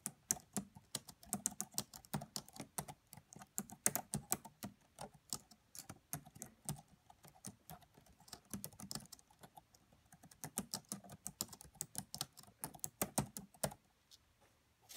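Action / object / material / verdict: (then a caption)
tap / laptop keyboard with plastic keys / plastic / none. Fingertips with long nails type quietly on a red laptop's black plastic keys, making a steady, uneven run of short, dry clicks and taps. Each click dies away almost at once, with a soft low thump under bright, crisp clatter. A few brief pauses break the flow before the typing picks up again.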